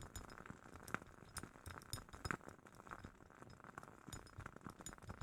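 A glass candle jar from a wooden-wick candle is tapped repeatedly in a steady, quiet pattern. Each tap gives a short, light glassy clink with a faint ring around 1.4 kHz and a soft, dull thump underneath, dying away almost at once. A few taps stand out louder among the softer ones.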